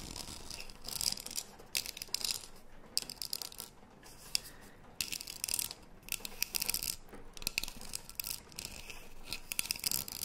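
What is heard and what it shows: Long nails tap and scratch the printed side of a tall green metal tea tin with a gold lid, held upright and closed. Bright, crisp scratching and quick ticking taps come in bursts with short pauses between them. Each tap dies out almost at once, with no ringing.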